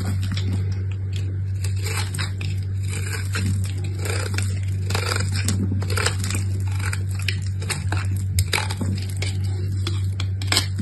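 A utility knife shaves the embossed gold coating off a small solid soap bar, revealing the purple soap beneath. Repeated crisp, bright scraping and crackling strokes sit over a steady low hum throughout.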